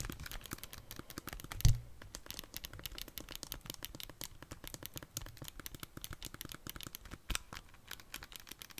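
Long nails tap the hollow plastic body of a handheld Nintendo Switch, with red and blue Joy-Con controllers attached and held close to the mic, and press its buttons. The result is a steady stream of quick, clicky taps like typing, with a low, full body. A louder knock lands near the two-second mark and a smaller one near the seventh second.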